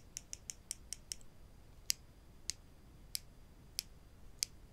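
Two small, solid wooden spring clothespins held in the fingers are tapped and clicked against each other, giving eleven short, dry, bright clicks with no ring. The first six come in a quick run, and the last five are spaced more slowly, over a quiet, low background.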